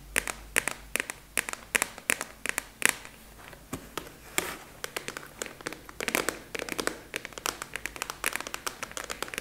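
A large, translucent purple plastic expanding file with a black clasp, hollow and apparently empty, is tapped and scratched with long acrylic nails. The result is a fast, irregular run of sharp, bright clicks and dry scratchy crinkles. Each sound is short and dies away almost at once, with very little low end.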